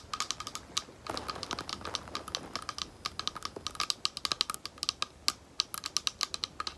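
A small, thick, clear glass bowl, hollow and empty and held close, is tapped on its base with long nails. Quick, bright, clicky taps come in an uneven rapid stream, with a denser scratchy flurry early on. Each tap dies almost instantly, leaving little ring.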